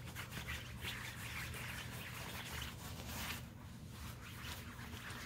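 An open hand rubs and scrunches a large, glossy black nylon coat lying flat and wet with soap suds. The thin, flexible fabric gives continuous squishy, crinkly rubbing sounds with a steady low rumble and bright swishes, and no separate hits.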